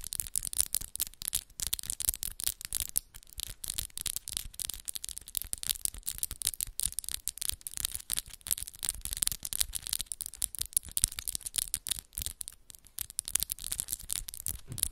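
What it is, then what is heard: Acrylic nails tapped and scratched together. Long, solid pink and black acrylic press-on nails, with the fingertips interlaced, tap and scratch against each other rapidly. The result is a dense, continuous stream of sharp, bright clicks and scrapes, concentrated in the high range with very little low end.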